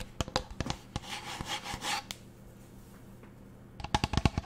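Fingernails tap and scratch a teal plastic pump bottle with a paper label. Sharp, bright clicks open the clip, then a rough, hissy scratching, a brief quiet pause, and a quick burst of crisp taps at the end over a faint low hum.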